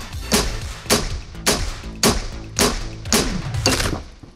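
A 3.8 cm, 1.06 kg solid tungsten cube is struck seven times with a hammer at a steady pace, each blow a short, dull metallic thud with a bright click and a brief ring. The cube remains intact afterwards.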